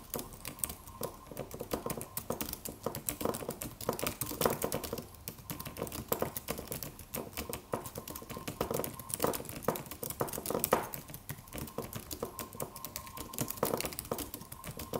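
Fingertips of both hands tap the white plastic keys of a slim, low-profile silver aluminum computer keyboard in a steady typing motion. Dense, rapid clicks and soft clacks run continuously with short, dry decays, a faint hum around 1 kHz, and a few louder bursts along the way.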